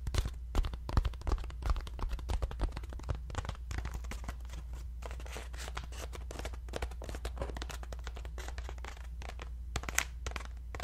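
A round, ribbed, hollow paper lantern with an opening at one end is held in both hands and scratched and tapped with fingertips. Dense, irregular papery scratches, crinkles and short dry taps follow one another quickly, louder in the first few seconds and again near the end. A steady low hum sits underneath throughout.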